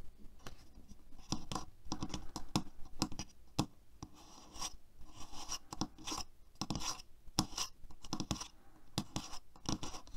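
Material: Plastic.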